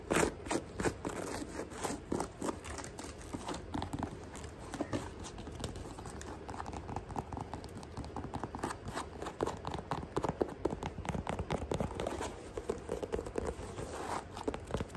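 Long nails tap and scratch quickly over a white sneaker with a glittery mesh upper and a chunky white sole, held up close. A fast, steady stream of dry, crinkly clicks and scratchy rasps runs the whole time, with short, sharp taps that stay mostly in the low and middle range with little brightness.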